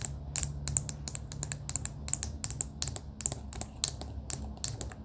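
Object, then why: Plastic pen with beads inside. A clear plastic pen with pastel beads inside is tapped with long pink acrylic nails. The result is a quick run of sharp, bright clicks with almost no ring, over a faint low hum. Many taps land in uneven bursts, some very close together.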